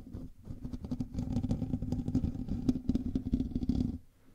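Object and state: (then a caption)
Metal mesh microphone grille. Fingernails of both hands scratch the hollow metal mesh grille of a black microphone, producing a dense, rapid stream of rough, close scratching and clatter. The sound is heavy in the low range, with a buzzing tone around 250 Hz. It runs steadily for about four seconds before dropping away to near silence.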